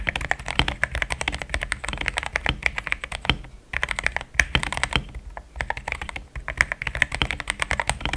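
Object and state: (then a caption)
Mechanical keyboard with plastic keycaps. Fast fingertip typing on a compact pink-cased mechanical keyboard with thick cream XDA plastic keycaps and a solid feel. It makes a rapid, steady stream of short, crisp clacks with a bright click around 1.7 kHz and a soft low thock beneath, and each keystroke dies away almost instantly. The typing pauses briefly near the 3.5 and 6.2 second marks.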